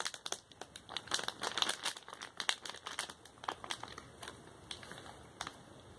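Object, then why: Thin plastic snack bag. An empty printed plastic candy-kit bag, about A5 size, thin and flexible, is held in both hands and crinkled and flexed with the fingertips. Dense, bright crinkling crackles come in quick bursts that build through the middle and then thin out and fade toward the end, with almost no low end.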